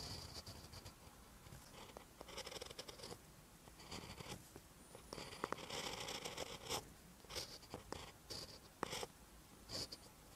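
A ballpoint pen tip writes on a lined paper notebook page. Bursts of bright, dry scratching strokes come and go in short clusters with brief quiet gaps between them, joined by a few sharp ticks.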